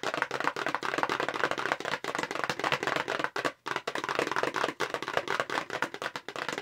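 Long pink acrylic nails on both hands fast-tap across the face of a hollow, light-blue paperboard makeup brush box. A dense stream of quick, dry, hollow clicks sits mostly in the midrange with very short decay, broken by a brief pause partway through.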